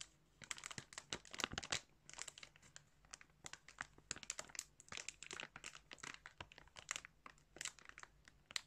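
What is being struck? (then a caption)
Thin plastic bag filled with yarn. Fingers crinkle and squeeze a thin clear plastic bag filled with colored yarn. A quiet, steady stream of bright, crackly crinkles comes in quick irregular bursts, each snapping off almost instantly with little low-end body.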